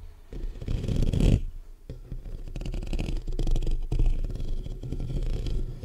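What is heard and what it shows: Fingertips and short nails of both hands scratch fast across the black metal mesh grille of a large hollow condenser microphone. The result is a dense, low, rumbling scrape with irregular rapid strokes at about four per second, a louder surge near the start, and a brief dip before the scratching resumes steadily.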